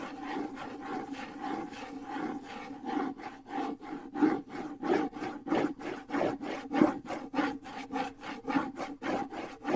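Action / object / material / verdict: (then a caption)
scrape / wood and skin bongo drum / wood / none. Fingers scratch and rub the wooden side of a small hollow wood-and-skin bongo drum, held low near the microphone. The result is a steady run of short, rasping strokes, each carrying a faint hollow resonance around 300 Hz from the drum's body.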